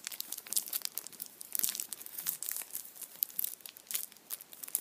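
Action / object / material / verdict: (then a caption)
scrape / chocolate bunny in aluminium foil / aluminium foil / none. A hand-sized Kinder chocolate Easter bunny stands upright in printed aluminium foil while fingertips and nails crinkle and scratch the foil. The result is a quiet, continuous stream of sharp, bright crackles and crinkles with almost no low end, each snap dying away instantly.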